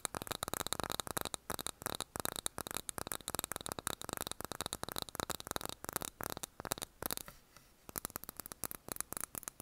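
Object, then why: Wax-filled glass candle jar with cork lid. A small wax-filled glass jar candle with a cork lid is held in both hands while fingernails tap quickly on its glass sides. The taps form a dense, irregular run of bright, dry clicks with almost no ring, and there is a brief quiet pause around the seven-second mark before the tapping resumes.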